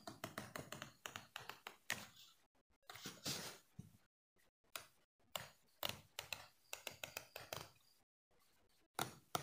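A small, solid yellow plastic hair comb is held flat between the fingers while the thumb and nails flick its teeth. Quick, bright clicks and taps come in irregular clusters, with a few longer raspy strums and short silent pauses between bursts. Each click is dry and dies away almost instantly.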